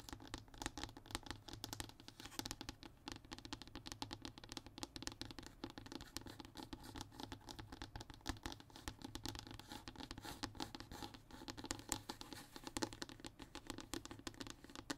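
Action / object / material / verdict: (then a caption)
scrape / hardboard fiberboard panel / fiberboard / none. Fingernails scratch and tap across a flat, thin, solid brown hardboard (MDF) panel, making a steady, dense stream of dry scratches and quick, short taps. The sound is quiet and close, with a low-mid body and a bright, papery edge, and each tap dies away almost instantly.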